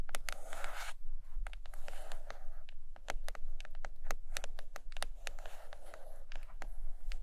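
Long acrylic nails scratch and tap the cover of a large, solid purple hardcover book lying closed on a carpet. A soft, papery scratching hiss opens the clip, then gives way to a quick, irregular run of dry, bright taps with very short decay. A faint low hum runs underneath throughout.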